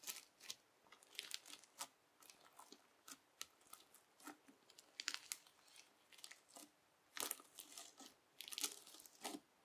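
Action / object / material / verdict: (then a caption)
scrape / bubbly slime sheet pressed and cut with a plastic knife / slime / none. A sheet of clear teal bubbly slime is repeatedly pressed and cut with the edge of a yellow plastic knife. It gives a run of short, crisp crackling and tearing bursts, bright and airy with almost no low end, each snapping off quickly against a quiet background.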